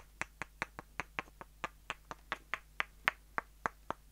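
Two short, solid light-wood dowels, one held in each hand, are tapped and knocked together end to end. Eighteen quick, dry clicks come at a fairly steady but slightly uneven pace, each bright and woody and dying out almost at once, over a faint steady low hum.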